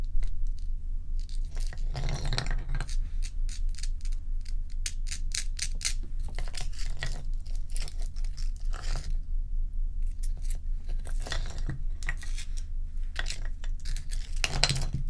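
Long pointed nails scratch and tap the frosty top surface of a large, solid, bowl-shaped ice dome resting on a towel. Quick, uneven bursts of bright, crisp scratching and clicking come over a steady low hum that fills most of the sound. Each touch dies away almost at once.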